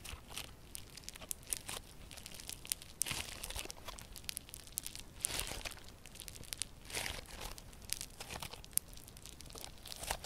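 A hand-sized lump of solid yellow crunchy slime with a foam-bead texture is kneaded and squeezed between both hands with long purple nails. Dense, quiet crackling and crunching pops come through with bright high-frequency clicks and soft swells of squishing.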